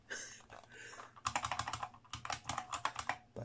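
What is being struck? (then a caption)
Plastic mechanical keyboard. A full-size ROCCAT R65 gaming mechanical keyboard, with a black plastic case and grey plastic keycaps, sits on a wooden desk while both hands type on the keys with the fingertips. A soft, hissy stretch gives way to two quick bursts of sharp, bright plastic clicks and clacks, each dying away almost instantly.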